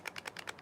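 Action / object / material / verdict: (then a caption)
shake / knife in a sheath / steel / loose. A knife sits loosely in a standard sheath that has drain holes and is shaken, rattling with six quick, bright clicks. The loose fit lets the blade knock around inside the sheath.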